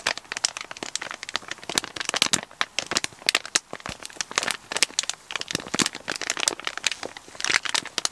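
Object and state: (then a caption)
Kraft paper mailer bag being crinkled. Fingers and short nails squeeze and crinkle a hollow brown kraft paper shipping mailer with a barcode label and an item inside. The result is a dense, steady run of bright, dry crinkles and sharp crackles with almost no low end.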